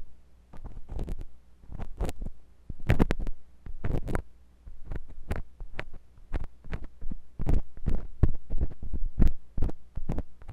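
A metal drill-bit tool scratches inside the ear canal of a white silicone binaural microphone ear. It produces irregular, closely spaced bursts of deep, muffled scraping and thumping over a steady low hum, with some strokes flashing up into bright crackle. The sound is heavy and pressured, sitting mostly in the low end.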